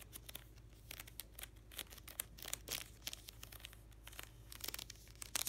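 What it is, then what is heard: Card binder full of plastic sleeves. Fingertips and short nails scratch and riffle across the stacked edges of clear plastic card-sleeve pages in a black hockey card binder held on its side and packed full. The result is a run of bright, crisp crinkling and scratching bursts that grow denser and louder near the end, over a faint steady low hum.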